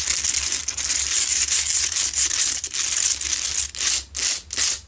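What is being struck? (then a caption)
Salt rock lamp. Long nails scratch aggressively at the rough sides of a lit, medium, solid Himalayan salt rock lamp. The result is a dense, bright, gritty rasping with almost no low end, running nearly continuously before breaking into a few shorter strokes with brief pauses near the end.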